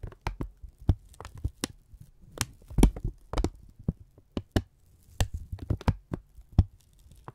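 A thin brown kraft paper strip, held in both hands, is crinkled, stretched and rubbed with the fingertips. It makes a string of short, sharp crackles and snaps with dull low thumps underneath, separated by brief quiet gaps. Each crackle stops almost instantly.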